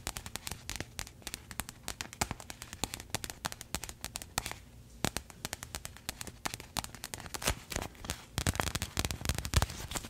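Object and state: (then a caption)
Plastic packaging bag. A pink printed plastic package is held close to the mic and tapped and scratched with paperclip fake nails. Rapid sharp clicks and crinkly scratching run throughout, with bright, crackly attacks and a brief quieter pause near the middle.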